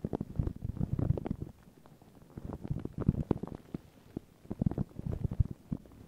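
Long pink nails and fingertips scratch and rub thin, crinkled white paper tissue stretched over a round microphone head. The result is a dense, muffled, low crinkling and scratching that comes in three busy bursts separated by quieter pauses.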